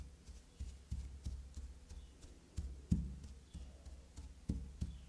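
A small, solid, carved black soap bar resting on a fabric surface is tapped and scratched with long glossy black nails. About ten soft, dull, low knocks land at an uneven pace, each dying out almost at once. Faint scratchy rustling fills the gaps between them.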